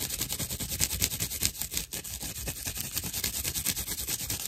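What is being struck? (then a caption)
Dried loofah sponge slice. Long acrylic nails scratch roughly over a thick slice of dried natural loofah fiber with hollow chambers, held in the palm. The result is a rapid, uneven run of bright, crackly, hissing scratch strokes with a faint low rumble underneath.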